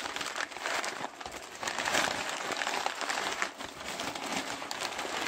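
Hands in white knit gloves with blue dots crumple and crinkle loose sheets of thin brown-grey kraft packing paper inside a cardboard box. The result is a continuous, dense, bright crackling rustle with almost no low end, swelling and briefly easing as the paper is squeezed and shifted.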